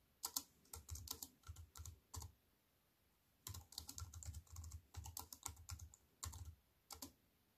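Fingertips with long white-painted nails type on a slim wireless keyboard with a silver aluminium frame and black plastic chiclet keys, resting on a wooden table. Quick, bright clicky key taps with a soft low thump come in bursts, pausing for about a second partway through before the typing resumes. Each tap dies away almost instantly, leaving a quiet, dry sound.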